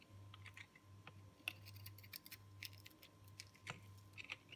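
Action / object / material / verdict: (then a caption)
scrape / recycled soap ball scraped with a metal blade / soap / none. A solid, hard, dry green-purple recycled soap ball, held in the hand, has its flat cut face scraped with a metal box-cutter blade. The result is a run of crisp, bright, dry scratches and short crackling clicks, with quick decay. A steady low hum runs underneath throughout.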